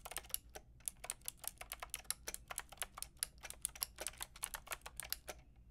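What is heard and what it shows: Fingertips and long nails type on a full pink, grey and white plastic mechanical keyboard with round plastic keycaps. About 30 quick, bright clicks come in a steady rhythm, each cut off sharply with no ring. A faint low hum sits underneath.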